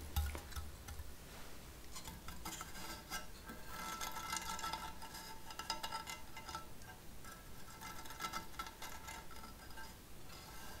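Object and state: Painted sheet-metal plant decoration.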